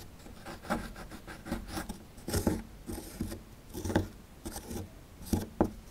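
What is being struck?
Plaster excavation block.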